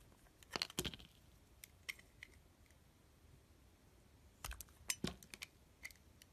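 A utility blade slices strips off the green and yellow coating of a solid, rounded bar of cream soap held in the hand. Short, crisp, bright cuts and clicks come in two busy clusters near the start and past the middle, with scattered soft ticks between them over a quiet background. Each sound stops almost at once, with no ring.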